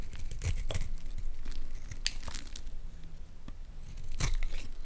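A metal utility blade scrapes and cuts curls off the surface of a solid, palm-sized, partly carved orange Lux bar soap held in one hand. It produces crisp, crackling scrapes and short bright tearing strokes over a steady low rumble.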